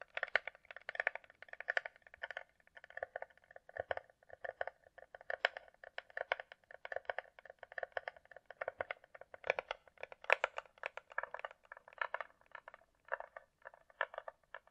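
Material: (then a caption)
Plastic. Long nails tap rapidly on the underside of a closed, hollow hard-shell glasses case held in hand, its shell glossy and coated, likely plastic. The taps are short, dry, hollow clicks centred in the mid range with no low end, arriving in quick uneven bursts. A few louder, brighter taps stand out around the ten-second mark.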